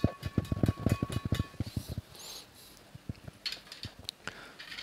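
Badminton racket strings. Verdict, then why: Ringing. The strings of a Li-Ning badminton racket are struck in a quick run of short, low, thumping taps, then a few sparser, quieter taps follow. The strings are judged to sound very ringing.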